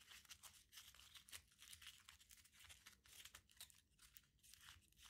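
A small crumpled aluminium foil ball is pinched, squeezed and rubbed by fingertips, giving a quiet, continuous run of bright crinkling and crackling. The dense, overlapping crackles sit mostly in the high range with little low end, and each snap dies away almost at once.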